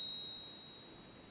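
A genuine 1 oz American Silver Eagle bullion coin is struck with the stick of a coin pinger, producing a clear, high-pitched ring near 3.8 kHz that fades smoothly over about a second. A phone app listening to the ring scores it three out of three, and the coin's diameter and weight also match spec, confirming it is real.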